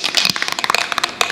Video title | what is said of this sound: Zinsser Covers Up Stains Sealing Ceiling Paint White WOW IT WORKS | that ball means that's moving it around which is really important